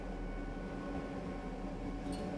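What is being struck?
Nothing is struck.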